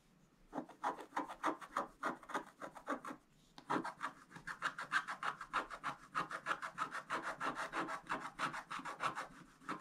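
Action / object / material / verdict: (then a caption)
scrape / scratch-art card, black coating over foil, scraped with a wooden stylus / coated foil card / none. A pointed wooden stylus scratches a flat, thin scratch-art page with a black coating over gold foil, held down with one hand. About forty quick, dry scratching strokes rasp in a steady rhythm with a bright, papery edge. They pause briefly after three seconds, then resume and continue to the end.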